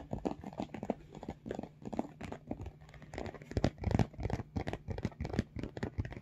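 Fingertips tap and scratch the top of a large, hollow pink makeup bag of embossed, textured faux leather or fabric, with some squeezing of the front. The result is a quick, irregular run of soft, dull low thumps mixed with crinkly, scratchy rustling, and each tap dies away almost at once.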